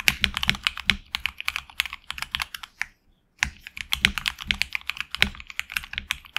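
Fingertips type continuously on a HyperX Alloy Origins Core tenkeyless mechanical keyboard with HX Red switches, PBT plastic keycaps on an aluminum plate and a hollow case. Rapid, bright, short clacks pattern across the clip. A brief silent pause falls just past the midpoint before the typing resumes.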